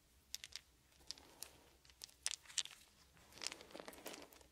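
Fingertips and palms rub and rake through a pile of small solid wooden beads on a blanket. The result is quiet, bright, dry clicking and rattling, with brief sharp ticks scattered over a soft crinkling hiss and almost nothing in the low end.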